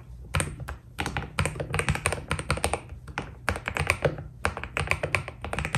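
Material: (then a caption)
PBT plastic. Fingertips type steadily on a white Keydous NJ80 mechanical keyboard with PBT plastic keycaps. The bursts of keystrokes have a deep, thocky low body and a bright clatter on top. Each press dies away almost at once.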